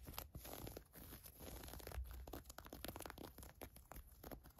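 Long acrylic nails and fingertips scratch and rub the elastic ribbed waistband and soft fabric of green cotton-blend fleece sweatpants lying flat on a fur rug. The result is a quiet, continuous stream of short, crinkly scratching and rubbing strokes with a bright, airy hiss over a soft low rumble.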